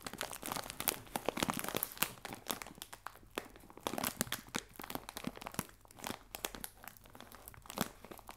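Fingertips and nails scratch and crinkle the film of a clear plastic bag full of biscuits resting on a table. The result is a steady stream of dry, crackly rustling broken by sharp, bright snaps that rise and fall in quick bursts, with little low-end body and almost no ring after each crinkle.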